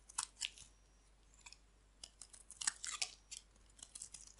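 A hand-sized, pink-and-white striped bar of dry soap is held in the hand and shaved and carved with a metal utility knife blade, sending flakes falling off. The result is a series of short, dry, bright scraping and crunching bursts separated by quiet pauses, with almost no low end.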